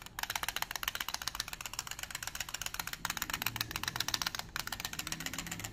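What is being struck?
Small plastic case with dice inside.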